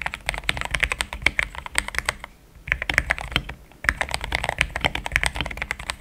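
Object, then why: Plastic mechanical keyboard. Fingertips of both hands type steadily on a compact pink-and-cream plastic mechanical keyboard with thick XDA-profile keycaps, Gateron Yellow switches and a polycarbonate plate, sitting on a desk mat. Rapid, short, bright clacks come in dense bursts with a low thump under each press. The typing pauses briefly twice before resuming at the same pace.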